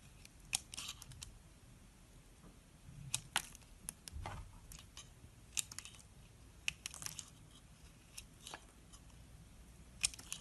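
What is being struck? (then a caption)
Soap bar carved with a small metal blade. A small metal blade scrapes and carves into the top surface of a solid white oval soap bar held in the palm. Crisp, bright scraping and cutting ticks come in scattered bursts over a quiet, low background hiss, with a few sharper clicks standing out and each sound stopping almost instantly.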